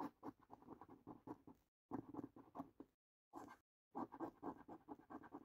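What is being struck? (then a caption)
Paper lottery scratch card scraped with a coin edge. A coin edge scratches across the symbol rows of the same paper lottery scratch card in quick, short strokes. The clip is a soft, dry, mid-pitched rasping patter with brief silent pauses between bursts of scratching.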